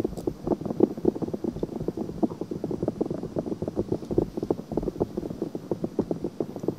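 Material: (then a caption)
Silicone. Long nails rapidly scratch and tap the outer ear of a pale pink silicone binaural microphone ear. The result is a dense, continuous run of quick, muffled scratching and tapping sounds, close and low-mid in tone with almost no high brightness.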